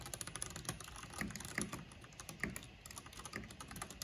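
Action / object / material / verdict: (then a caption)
tap / plastic mechanical keyboard / plastic / none. Fingertips with long nails type continuously on a mechanical keyboard with black plastic keycaps and a purple backlight. A steady, quiet run of short, crisp key clicks with a soft low thud under a brighter tap, a few strokes landing a little harder than the rest.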